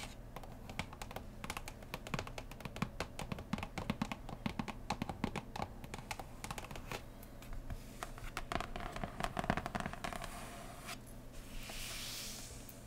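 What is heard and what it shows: Long painted nails tap quickly across the printed lid of a large, flat, closed cardboard Root board game box lying on a cloth. The result is a dense run of short, dry clicks with a dull low body, rising in strength near the middle. It ends with a soft, bright brushing swish.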